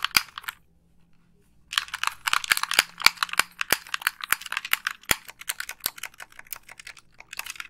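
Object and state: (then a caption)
Plastic game controller. Long pink nails press the buttons and tap the body of a hollow white plastic Xbox 360 gamepad. A short burst of clicks is followed by about a second of near silence, then a steady stream of rapid, crisp clicks and tapping. The sounds are bright and dry, with very short decay and almost no low end.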